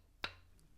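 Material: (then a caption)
Steel. A single flick or tap on the prongs of an ASR metal three-prong flash hider mounted on an MK18 rifle gives one short, sharp click that dies away almost at once. The prongs are cut to different lengths, which stops the ring common to three-prong flash hiders and leaves only a solid, dull thud.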